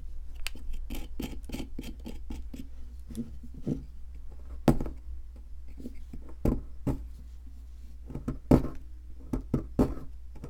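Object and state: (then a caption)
Plaster fossil block being scraped. A solid white plaster ammonite fossil-excavation block, held by hand, is scraped with a wooden-handled metal chisel so that powder crumbles off. Quick, dry scraping strokes follow one another, with a few louder, sharper scrapes standing out. A steady low hum runs underneath throughout.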